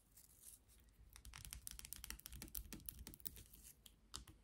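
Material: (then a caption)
Plastic. Long nails tap the handle of a pink and clear plastic toothbrush and scratch across its bristles. The result is a quiet, irregular run of quick, bright clicks mixed with short raspy scratches.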